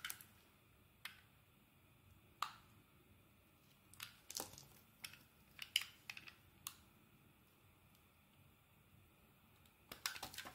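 A steel snap-off blade shaves curled slices from a solid, hand-sized, rectangular yellow bar of soap held in the hand. Short, bright scratching strokes come in scattered bursts, some isolated and some clustered, with quiet pauses between them. Each stroke ends abruptly, and the clip stays quiet overall.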